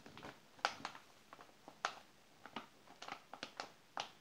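Palm and fingers rub over the glossy page of an open glossy paper magazine, then the page is turned and flattened. Quiet, dry papery rustles alternate with short, crisp slaps and swishes. These are irregular bursts centered in the mid range with bright edges and almost no low end.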